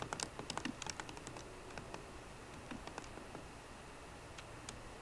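Fingertips with short green nails type on the low-profile plastic keys of a 13-inch aluminum MacBook Pro laptop keyboard. A quick burst of about 20 light, bright clicks comes early, then sparser taps over a steady quiet background.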